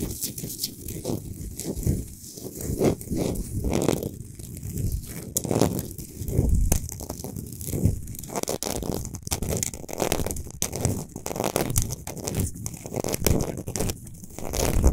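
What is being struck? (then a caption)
Rock salt globe lamp. Long fingernails on both hands scratch quickly over a large, lit, solid Himalayan rock salt globe lamp resting on a stand. The result is a dense, continuous rasping and crackling in surging bursts, with a heavy low rumble beneath bright, gritty scraping.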